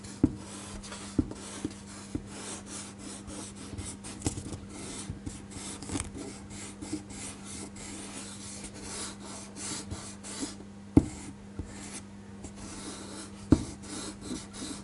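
A small rubber eraser is rubbed back and forth over a thin white paper sheet with an ink drawing, lying flat on a table and held down by one hand, erasing pencil lines. A soft, steady scratchy rubbing runs throughout over a constant low hum, broken by a few sharp clicks.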